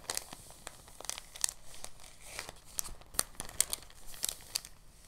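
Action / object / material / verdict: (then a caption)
scrape / thin plastic bag / plastic / none. A thin, empty, translucent plastic bag is stretched, folded and crinkled with both hands. The result is a quiet, continuous rustle broken by a steady run of sharp, bright crackles and snaps that die away instantly.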